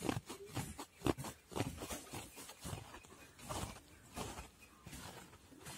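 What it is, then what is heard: Faux fur handbag. Fingers and nails scratch and rub the long pile of a soft, hollow, dark brown-grey faux fur handbag lying flat. Repeated rough, rasping strokes rise and fade at an uneven pace, giving a soft, dry, brushing scratch with no ring.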